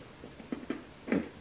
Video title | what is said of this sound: Recette gourmande 4 Ingrédients! Facile et délicieuse pour toi ma @Berebeauteplus | C'est bien croquant. Vous entendez comme ça croustille?